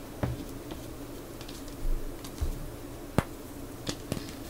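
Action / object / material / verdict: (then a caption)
knock / block of gym chalk / chalk / none. Fingertips press, snap and crush a large, solid, crumbly rose-shaped molded block of purple gym chalk (magnesium carbonate) lying on a clear plastic tray, breaking it into pieces and powder. Several soft, low crunches and a few sharp, dry snaps stand out over a quiet background, each dying away almost instantly.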